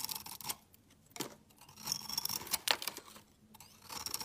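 A steel utility knife blade scrapes and shaves flakes off the face of a solid, hand-sized, bright green bar of soap with a shiny patterned outer layer. Bursts of dry, crisp, bright scraping and crackling come in uneven strokes with almost no low end, separated by brief near-silent pauses.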